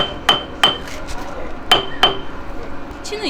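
A hammer taps a steel tank suspension bolt during pre-exercise maintenance, checking the bolt's tightness and play before a field exercise. A clear ring means tight and a dull sound means loose. Four sharp metallic strikes each ring briefly around 3.1 kHz over a low background hum.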